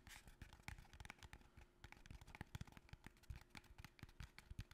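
A small, long, narrow, empty-looking cardboard box is held upright in both hands and tapped with the fingertips and nails. The result is a quiet, rapid, uneven run of soft, dull, hollow thumps mixed with light clicking and scratchy nail taps, each dying away almost instantly.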